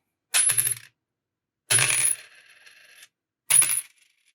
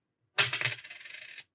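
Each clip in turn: First: silver dimes, clear ring. Second: nickel dime, not silver (dull drop).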